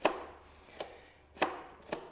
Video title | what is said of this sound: BEST PRESSURE WASHER EVER MADE? AVA P80 Master vs Kärcher K7 - Duell of the Premium Pressure Washers | it sounds hollow it sounds a bit like there's sand in there